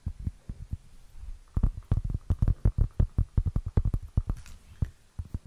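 Long fingernails tap and scratch the rough surface of a round, flat, solid, plate-sized cork board held close to the mic. The result is a rapid, irregular run of dull, low, muffled thuds with almost no ring, lightly layered with soft scratching. The taps start sparse and quiet, then grow louder and denser after the first second and a half.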